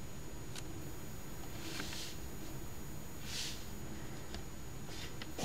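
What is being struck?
Paper scratch ticket scraped with a coin edge.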